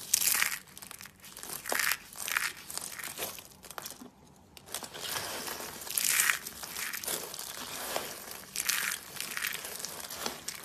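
Fingers press and rub through a bowl filled with dry pink soap shavings, crushing the flakes. Bright, dry crinkling and crunching comes in repeated bursts, with a brief quiet pause around the middle.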